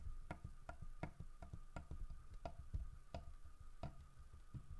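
Fingertips tap and knock on the carved side of a large, solid carved wooden bear statue with a fish in its mouth. Each knock is a short, dull, low thud that dies away quickly, repeating at an uneven pace over a faint steady tone.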